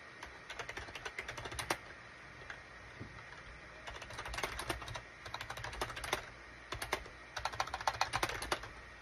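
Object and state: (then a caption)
Plastic keyboard being typed on. Fingertips type and tap on a full-size gray and beige SHIPADOO K600 wired USB keyboard with hollow plastic keycaps. Quick runs of short, dry, bright plastic clacks come in bursts, with brief pauses between them. A faint steady low hum sits underneath.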